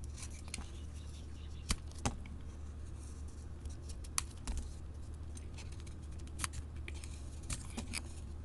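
A solid mint-green soap bar with a printed floral coating is held in hand and shaved with a flat metal blade. Short, crisp, bright scraping snaps rise over a steady low hum, with a few sharper cuts standing out.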